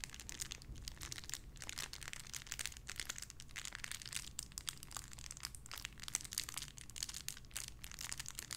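A small clear plastic bag holding a pink paw squishy toy is squeezed and crinkled with fingertips and long red nails. It makes a steady, dense stream of bright, crisp crackles and rustles for the whole clip, over a faint low hum.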